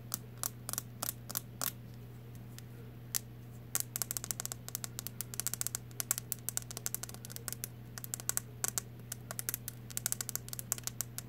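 A solid blue plastic wide-tooth comb with a loop handle has its teeth and handle tapped and strummed with long nails, giving fast, sharp, bright clicks and brief scratchy strums. The clicks come sparse at first and then in dense flurries over a steady low hum.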